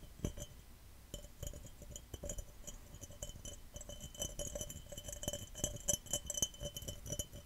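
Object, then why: Glass cup. A glass cup is tapped fast and aggressively, producing rapid bright clinks with short ringing tones. The taps come in quick, uneven bursts over a low, dull knocking undertone.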